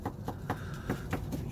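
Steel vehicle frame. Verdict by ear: Solid.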